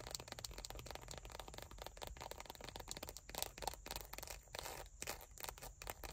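Long nails scratch and rub across the textured surface of a small dark brown leather wallet lying flat with cards inside. The result is a dense run of quick, dry scrapes with bright, hissy edges and a low background rumble, lasting about six seconds without pause.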